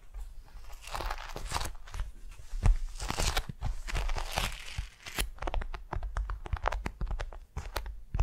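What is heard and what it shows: Long nails and fingertips tap and scratch a flat, patterned beeswax-coated cotton wrap laid over a soft furry mat. The result is a steady run of crisp, crinkling scratches and sharp ticks with bright crackle on top and soft low thumps underneath, in short bursts that rise and fall.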